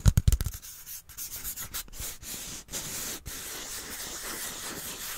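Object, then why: Cardboard tube. Fingertips rub and scratch the side of a small, hollow brown cardboard tube with a white end cap, held in front of a microphone. A quick burst of low, hollow thumps opens the clip, then settles into a steady, dry, papery scratching with a bright hiss.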